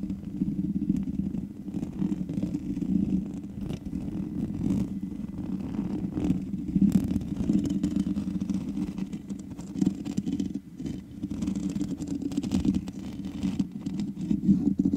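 Long nails on both hands scratch the black metal mesh grille of a large USB condenser microphone with a hollow head. The result is a steady, close, low rumbling scratch centred near 190 Hz, with little high content and brief dips in level throughout.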